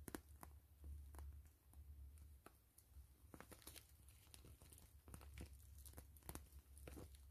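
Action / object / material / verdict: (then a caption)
scrape / plastic mesh zipper pouch / plastic / none. Long nails scratch, tap and crinkle a gray translucent plastic mesh zipper pouch, hollow and slightly puffed, held in both hands. Sharp, bright crinkling ticks and short scratchy bursts come in quick irregular succession over a steady low hum, all at a quiet level.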